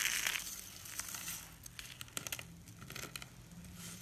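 A bare hand scoops up a heap of thin, brittle, dry white soap shavings on a countertop, then presses and crushes them between the fingers and palm. Bright, dry crunching and crinkling rise and fall through the clip, with sharp crackles in the middle and a faint low hum underneath.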